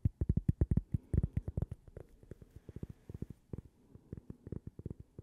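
A small, thin, solid toaster-shaped cork coaster with a logo is held in the hands and tapped and scratched with long purple fingernails. Rapid, dull, low thuds with almost no ring come in quick bursts, louder at first and then softer, with faint scratchy rustling between the taps.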